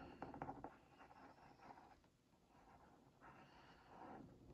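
A wooden skewer tip is traced over a printed cookie on a hollow Oreo Mini cardboard box held in one hand. It makes a few quick, dry scratches, then softer, slower scraping strokes with a mid-range papery rasp. The sound stays quiet and close, with little ring after each stroke.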